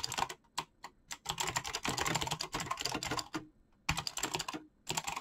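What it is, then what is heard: Mechanical keyboard with PBT keycaps. Fingertips type fast on a black mechanical keyboard with clicky switches and PBT plastic keycaps. Quick bursts of bright, sharp clacks run together, separated by brief pauses, and each keystroke dies away almost instantly.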